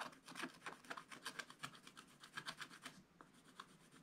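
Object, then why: Wooden stylus on scratch-art paper. A wooden stylus scratches and rubs the coating off a black-coated scratch-art card page in a spiral book. A quick, irregular run of short, dry, bright rasping strokes is heard, each scrape sharp and without ring, at a soft level.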